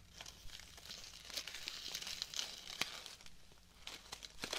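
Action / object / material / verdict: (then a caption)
scrape / artificial rose bouquet with fabric petals and plastic leaves / fabric, plastic / none. Fingertips and nails rub, crinkle and scratch the fabric petals and plastic leaves of a pink artificial rose bouquet with plastic stems. The result is a quiet, continuous, bright rustling and crinkling, scattered with sharp, short scratchy ticks.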